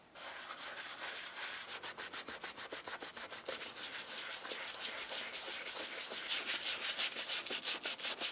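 A round-headed bristle brush scrubs a brown leather shoe with a buckle strap through white cleaning foam, the shoe held in a black-gloved hand. Quick back-and-forth brushing and rubbing strokes, about three per second, make a bright, scratchy hiss with no low end. The strokes grow slightly louder toward the end.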